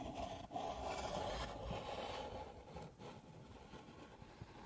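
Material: Paper.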